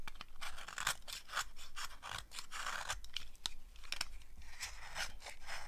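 A green-handled blade scrapes crunchy shavings off a solid, dry green soap bar held in the hand. Quick, dry scraping crunches with a bright, gritty texture follow one another in a steady, dense run.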